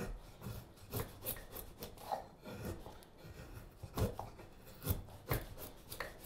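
A straight steel carving knife shaves a solid light wood spoon blank, making irregular cutting and scraping strokes. Each stroke gives a short, dry rasp with a low thud and bright scratchy edges, separated by softer rubbing between cuts.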